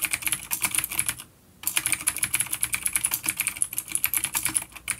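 A full-size black plastic vintage mechanical keyboard with grey keycaps, a coiled cable and vintage clicky blue switches, an A-grade unit, sits on a wooden desk while both hands type rapid fingertip taps. The keys give a bright, crisp clatter of sharp clicks with very little low end. A brief pause just after the first second breaks the typing before it resumes at a steady pace.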